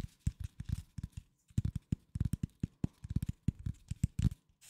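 Fingertips and nails tap and scratch a flat corrugated cardboard sheet, its fluted edge visible, held tilted near the microphone. Rapid clusters of dull, low, dry taps with faint scratchy crackle stop dead with no ring, pausing briefly before resuming in quick bursts.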